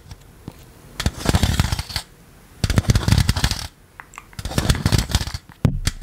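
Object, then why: Plastic electric fly swatter with metal wire mesh. A green plastic electric fly-swatter racket with a metal wire mesh is held flat over a microphone while rubber toy hands worn on the fingertips scratch and tap the mesh. Three bursts of dense, crackly scratching and quick taps, heavy in low thumps with bright clicks on top, are separated by quiet pauses. A sharp tap lands near the end.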